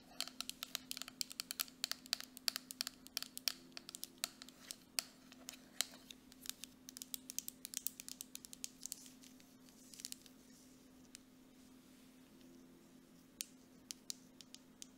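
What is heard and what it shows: A grey plastic mud mask jar with a metal lid is held in one hand while the long nails of the other hand tap quickly on its side. The taps are sharp, bright clicks with almost no ring, coming in dense rapid bursts for the first ten seconds, then thinning to scattered taps. A faint steady low hum runs underneath throughout.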